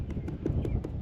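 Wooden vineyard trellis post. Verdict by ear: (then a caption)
Hollow. A wooden vineyard trellis post is knocked on repeatedly, giving a series of short, dull, low thuds with almost no ring. The post is hollowing out on the inside; it still has a few years left but is headed for the burn pile.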